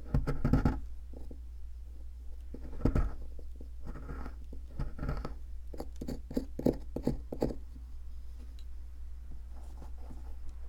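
A metal pick scratches and chips at a solid white plaster fossil excavation block held by hand. Short gritty scraping bursts alternate with clusters of sharp little chipping taps. A steady low hum runs underneath throughout.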